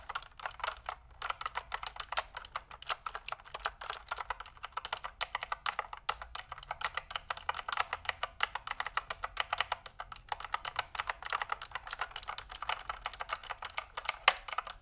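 A pink mechanical keyboard with pink and white plastic keycaps and a hollow plastic case is held upright beside the face while fingertips type on its keys. The result is a steady stream of rapid, crisp clicks that die away almost instantly, with a clacky tone centered near 1.1 kHz, bright upper detail and almost no low end.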